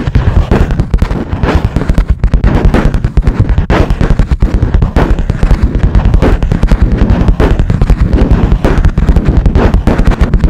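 Long nails of one hand tap rapidly on the smooth, hard top of a cream plastic or laminate lap desk, a flat board. A fast, steady stream of short, dull knocks carries on for the whole clip. The sound is heavy in the low end, with almost no bright edge and no ring after each hit.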